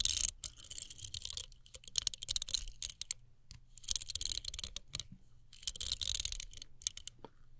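Long nails tap and scratch a small folding travel hairbrush with a metallized plastic body, black plastic bristles and a hollow handle. Bright, dry crackling bursts of scratching swell and fade in waves, with quieter, sharp plastic taps and clicks between them and almost no ring.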